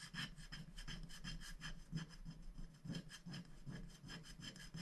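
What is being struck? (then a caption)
Black-coated paper scratch-art sheet scraped with a wooden stick. A wooden stick scratches the black coating off a thin, flat paper scratch-art sticker sheet lying on a glass board while a hand holds the sheet in place. The strokes come as a steady run of quick, dry, rasping scrapes with a low body and bright edges.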